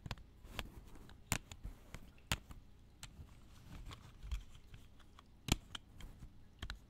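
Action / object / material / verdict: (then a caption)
tap / plastic video tape cassettes / plastic / none. Plastic video tapes are tapped in an irregular series of short, dry taps. Each tap carries a low thump with a bright clicky edge, with faint handling rustle between them. A few taps, near the middle and toward the end, land louder than the rest.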